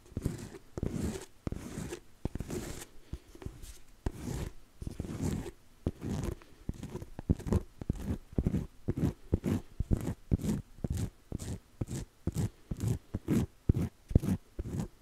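Fingertips and nails tap and scratch the navy faux-leather cover of a medium-sized, solid hardcover notebook with an elastic strap, held upright in both hands. The first half has longer, rustling scratch strokes, then it settles into quick, dry, low taps at a fast, uneven pace. Each tap dies almost instantly with a faint bright edge.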